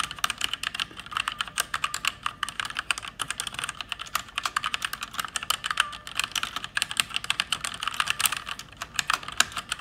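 Fast typing with fingertips and long red nails on an RGB-backlit mechanical keyboard with plastic keycaps. A dense, steady stream of sharp, bright clicks and clacks with almost no low end, each keystroke dying away almost instantly.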